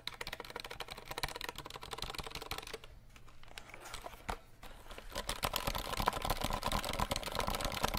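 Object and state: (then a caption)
Plastic mechanical keyboard. Fingertips tap rapidly on the plastic keycaps of a compact 60% RGB mechanical keyboard, making a dense run of short, sharp clicks. The tapping thins out and quietens for a moment past the midpoint, then returns louder and brighter, with clacks around 1 kHz.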